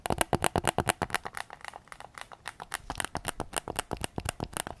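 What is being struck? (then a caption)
Plastic game controller shell. Fingertips and nails tap the hollow plastic shell and triggers of a white PS5 controller held in both hands with its back side facing out. About thirty quick, dry, clicky taps land in an uneven run: loud and bright at first, softer and denser in the middle, then firmer again. Each tap stops almost instantly with no ring.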